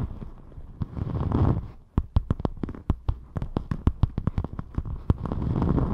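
Long pointed metallic nails scratch and tap across a thin, flexible rainbow glitter EVA craft foam sheet held in front of the microphone. A soft, low, rustling scrape opens and closes the clip, with a quick run of sharp, dry clicking taps in between.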